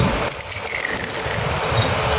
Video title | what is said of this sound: ফুলঝুরি পিঠা রেসিপি। Fuljhuri Pitha Recipe । Bangladeshi Pitha Recipe। Flower Cookie । | এখন একটি পিঠা ভেঙে আপনাদেরকে শব্দটা শোনাচ্ছি ... পিঠাগুলি যে কত মচমচে হয়েছে সেটা শব্দটা শুনেই বুঝতে পারছেন